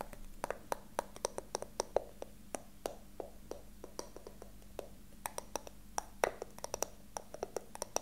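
Fingertips and short nails tap and scratch the surface and sides of a small, hollow, rectangular brown wooden box with a carved ornamental pattern, held in the hands. Dozens of quick, dry, irregular taps with a woody knock around 500 Hz and bright clicky edges stop almost instantly, with faint scratching and a steady low hum underneath.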